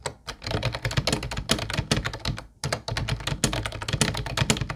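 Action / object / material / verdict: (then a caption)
tap / plastic keyboard / plastic / none. Fingertips of both hands type on a mint-blue plastic retro Ubotie keyboard with round white keycaps. A dense run of short, clacky key taps with a solid low thump and bright plastic click; it stops briefly just before the middle, then resumes.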